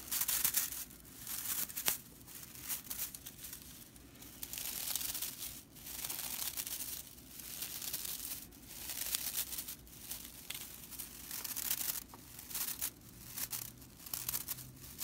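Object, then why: Straw whisk broom bristles. Long purple nails scratch and rake through the dense, dry straw bristles of a broomcorn whisk broom. The result is a quiet, bright, crackling rattle that comes in repeated rustling bursts, with little low end.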